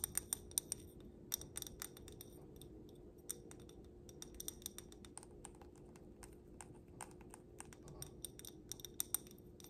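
A stemmed wine glass filled with pink glitter is tapped on its glass base and bowl with long black nails. The result is a quiet, irregular run of quick, bright glass clinks with short, high ringing tones over a steady low hum.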